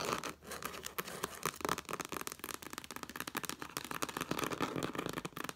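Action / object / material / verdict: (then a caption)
scrape / cloth-bound hardcover book / cloth / none. Long black nails rapidly tap and scratch the red cloth cover of a hardcover book lying flat. The result is a quick, continuous run of short, dry, scratchy taps with a bright, brushing texture and a slight tonal emphasis around 1.2 kHz. The taps have almost no ring.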